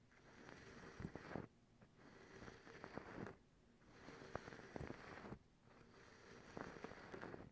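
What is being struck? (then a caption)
Cotton terry cloth towel. Long acrylic nails scratch and pluck a white cotton terry cloth towel, making soft, dry, rustling scratches that swell and fade in repeated waves. Sharp little plucking snaps stand out within each wave, and the overall sound stays quiet and close.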